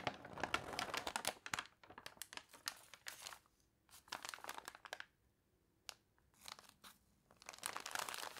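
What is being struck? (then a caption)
Newsprint newspaper. An open newsprint newspaper spread on a table is handled and crinkled, and long nails scratch across the page. Bright, dry bursts of crinkling and scratching come in irregular clusters, separated by brief quiet gaps.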